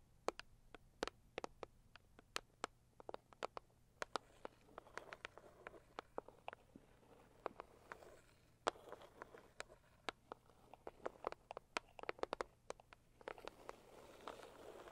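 A medium pink floral Saviland cardboard gift box, hollow, is tapped with long acrylic nails. Quick, dry clicks fall in an uneven rhythm, each one sharp and gone at once, with a soft hollow body around the mids. A faint low hum sits under the taps throughout.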